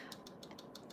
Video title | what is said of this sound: Beginner Acrylic Nail - Acrylic Nail Education Refresher | you can hear kind of that sharp click almost all the way through